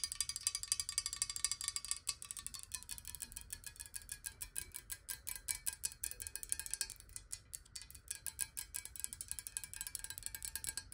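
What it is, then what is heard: Glass water bottle. A clear square glass bottle filled with water is tapped rapidly with long nails, held close. The quick, irregular clicks are bright and high, each dying away almost at once, with a faint glassy ring.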